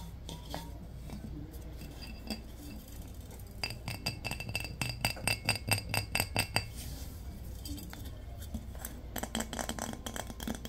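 A large, round, hollow glazed ceramic vase with a floral painting is tapped with fingertips and nails, giving bright, short clinks over a low background hum. The taps start sparse and soft, then come in a quicker, louder run in the middle, each with a brief high ring. They thin out again toward the end.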